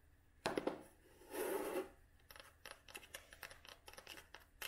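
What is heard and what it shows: Long nails tap and scratch the cloth cover and red spine of a closed vintage cloth-bound hardcover book. A few sharp taps open the clip, followed by a soft, hissy scratch across the cloth. Then comes a run of quick, dry, bright clicks with almost no ring.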